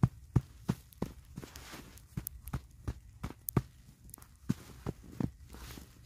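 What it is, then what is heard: Packed snowball, firm. Knit-gloved hands pat a medium, solid ball of packed snow held on the lap. The result is a quick, uneven series of soft, dull, low thuds, about three per second, each dying away almost at once. Faint crunchy hiss fills the gaps between pats.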